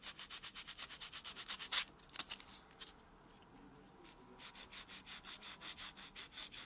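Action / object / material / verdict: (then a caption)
scrape / natural fingernail rubbed with a foam buffer block / nail, foam / none. A white solid foam buffer block is rubbed against natural fingernails, with the hand resting on a dark textured surface. It makes rapid, rhythmic back-and-forth buffing strokes with a bright, dry, scratchy hiss. After a few louder irregular strokes, the sound drops to near silence for about a second and a half, then the steady buffing resumes.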